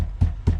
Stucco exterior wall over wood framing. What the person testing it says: you can hear that it's a hollow sound